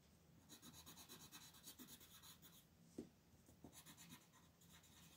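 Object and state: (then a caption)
Pencil coloring on thin paper. A wooden colored pencil, held by fingers with long pink nails, colors a thin paper coloring page in quick, repeated short strokes. Soft, bright scratching and rubbing comes in rapid bursts, with a sharper tap near the middle, then lighter, sparser strokes trail off.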